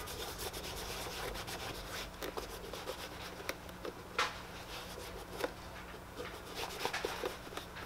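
A cloth wrapped over the fingers is rubbed across the toe of a tan leather boot, making a steady, breathy swishing with bright scratchy texture. A few sharper ticks and squeaks break through the rubbing, over a faint constant low hum.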